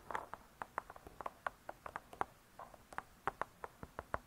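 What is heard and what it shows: Long nails tap quickly on the cardboard cover of a spiral-bound hardcover cookbook lying flat, giving about twenty quiet, dry, clicky taps centered near 800 Hz at an uneven pace. Each tap dies away almost instantly, with little low rumble and only faint high edges.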